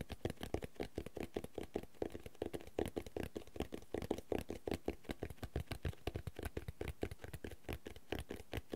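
Fingertips and nails tap and scratch the dark red cloth-covered board cover and the thick cream page edges of a medium, solid hardcover notebook held in both hands. The result is a steady, rapid run of soft, dull taps with light scratching, quiet and weighted toward the low end, each tap dying away almost at once.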